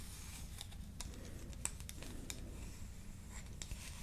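A small, solid, yellow-painted wooden toy comb is held in both hands while long nails scratch and tap along its teeth and edge. Quiet, sharp, bright clicks and brief scratches sound over a low, steady background rumble. Each tap stops almost instantly.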